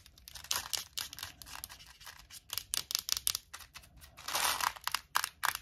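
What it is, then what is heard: Plastic mint box tapped and scratched with nails. Long acrylic nails tap and scratch across the front and lid of a small, clear plastic Tic Tac box full of mints. The result is a quick, irregular run of sharp, bright clicks mixed with dry, scratchy rasps, all light and high with almost no low end. A denser burst of scratching swells near the end before a few final taps.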